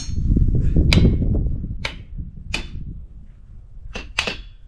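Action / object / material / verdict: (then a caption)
strike / boulder struck with a hammer / rock / ringing. A hammer strikes a boulder in a pile of ringing rocks in Montana, and it rings when struck as it normally should. Several sharp metallic clinks ring out bright and brief over a steady low background rumble.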